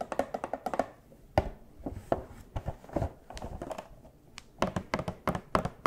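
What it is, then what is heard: Cardboard collectible box with plastic window. Long hard plastic claws on furry costume paws tap a small hollow cardboard Funko Pop box with a clear plastic window and a vinyl figure inside. About two dozen quick, dry, hollow taps come in uneven clusters, each with a soft low thump and a short clicky edge that dies away almost instantly.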